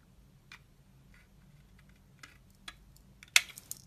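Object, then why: Glycerin soap bar scraped with a blade. A snap-off utility knife blade scrapes and shaves flakes off the surface of a solid, translucent, ridged orange glycerin soap bar held in hand. Soft, bright ticks are scattered over a quiet background, building to a louder, crisp scrape with a short high burst near the end. Each sound is very short and dry, with almost no low end.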